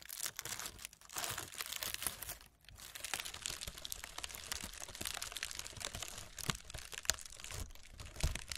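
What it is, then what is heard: Honeycomb kraft packing paper. Long red acrylic nails scratch and tap across a roll of brown honeycomb-cut kraft packing paper, its hollow loose layers lying on burlap cloth. A dense, bright crinkling and crunching rasp runs throughout, broken by quick sharp taps and a brief lull near the middle.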